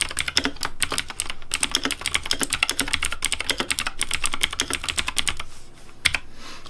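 Fast fingertip typing on a pink Razer Deathadder V3 plastic mechanical keyboard with hollow plastic keycaps produces a dense, steady stream of sharp, bright clacks with short dry decays. The rapid clatter thins out near the end, and a couple of final clicks sound before the clip closes.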